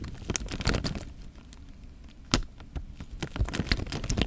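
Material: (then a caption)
Plastic film. A clear, thin plastic bag full of water is held in both hands while fingertips press and rub the film, making the water shift inside. Crisp crinkling and crackling of the plastic sit over a low, heavy sloshing, with a quieter stretch in the middle broken by one sharp, bright crack before the rubbing picks up again.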